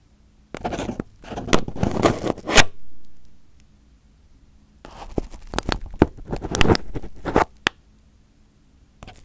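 Fingers pick and pinch crumpled aluminium foil wrapped over a microphone head, making crinkling scrapes. The sound comes in two dense bursts of crackling and scraping, separated by a quiet pause, with a faint rustle at the end. The tone is broadband but weighted toward the low end, with sharp, bright crackles on top.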